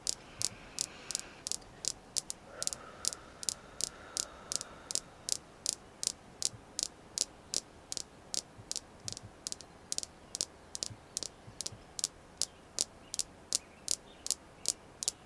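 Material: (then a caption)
Jasper. A small, solid, polished red jasper star is tapped with long manicured nails, giving 43 sharp, dry, bright clicks at a brisk but uneven pace over about 15 seconds. Each tap is very short with almost no ring, over a faint steady background hiss.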